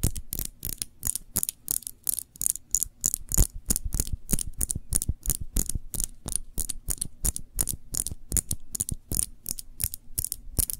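Long fingernails tap rapidly on a small glass jar full of cranberry jam held cupped in both hands, producing about 44 sharp, quick clicks. Each tap has a dull low thump under a bright, glassy tick that dies away almost instantly, in an uneven, steady patter with no talking.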